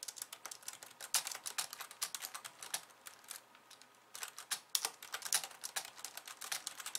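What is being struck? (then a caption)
Plastic computer keyboard. Long painted nails of both hands type fast on a pink low-profile plastic computer keyboard with white keys resting on a wooden desk. A rapid stream of short, bright, clicky key taps with almost no low end, easing into a brief lull near the middle before the quick typing resumes.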